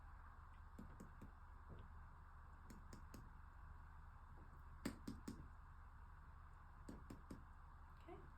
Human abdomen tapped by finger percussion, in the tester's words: it's just going to be some light tapping. And I'm listening for tympani.